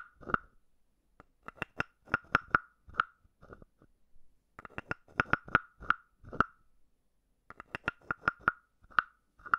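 A palm-sized hollow carved wooden frog, held in the palm, is tapped on the top of its head with a wooden stick. Quick, dry, hollow knocks with a clear mid pitch sound in three irregular bursts separated by short pauses. Each tap dies away almost instantly.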